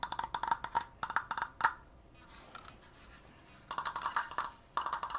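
Long painted nails and fingertips fast-tap along the edges of a large stained wooden Triforce frame of thin slats, making bursts of short, dry wooden clicks that ring at a mid pitch. The tapping stops for about a second and a half of near silence, then resumes in quick clusters.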